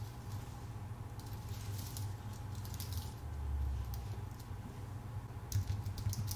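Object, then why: Aluminium-based keyboard with plastic keys. Fingertips of both hands type steadily on a full-size white Apple Magic Keyboard with a numpad, with plastic keycaps on a thin aluminium base, resting on a dark desk. Soft, quick key taps come through as faint bright ticks over a steady low hum that dominates the quiet recording. The taps bunch into brief flurries, with a slightly louder cluster near the end.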